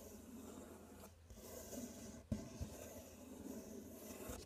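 Fingers scratch and rub the side and front edge of a large, empty, open corrugated cardboard box while the other hand holds the top flap. The result is a soft, continuous dry scratching with a low, papery rustle and a faint bright hiss. Two brief louder knocks stand out just past the midpoint.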